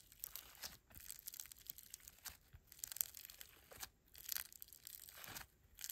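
A fist-sized, solid lump of greyish mixed foam bead slime (floam) is kneaded and squeezed by both hands with fingertips and thumbs. It gives off quiet, bright, crackly crunching and crinkling in repeated bursts, with brief pauses between squeezes.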